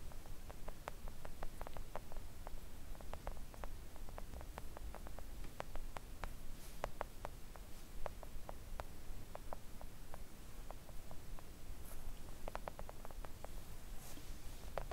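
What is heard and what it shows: Long acrylic nails on both hands gently tap a thin, solid, flat pink silicone nail art mat lying on a table. The taps are quick, soft clicks with very short decay, scattered irregularly over a steady low rumbling noise floor.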